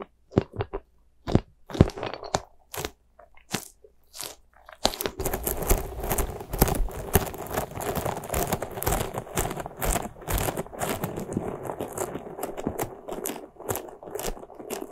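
Long nails scratch the bristles of a small white soft rubber spiky ghost squishy toy. For the first five seconds there are sparse, separate crunchy scrapes. These then give way to dense, continuous scratching that sounds crackly and rustly, with a bright edge.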